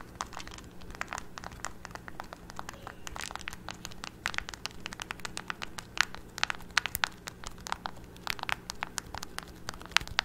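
A handheld black plastic TV remote with rubber buttons, hollow and held in both hands, has its buttons pressed and clicked repeatedly by fingertips and nails. The result is a rapid, irregular stream of short, sharp, bright clicks and crackles with almost no ring, over a low, steady hum.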